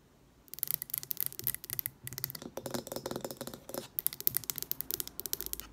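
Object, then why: Glass candle jar. Long acrylic nails tap fast on the glass sides of a medium green glass jar candle with a grey lid, filled with solid wax. The result is rapid bursts of bright, crisp clicks with almost no ring, starting after a half-second of quiet and pausing briefly around the two- and four-second marks.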